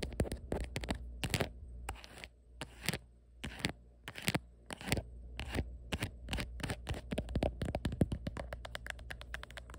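Fingertips and long nails tap and scratch around the camera bump and back of a black printed hard plastic phone case on a phone. Sharp, dry clicks and brief scratchy strokes start spaced apart, then speed into a dense, rapid patter in the second half. A steady low hum sits underneath throughout.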